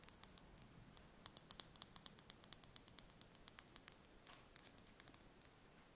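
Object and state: Brown chicken egg, tapped with fingernails.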